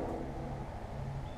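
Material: Nothing is struck.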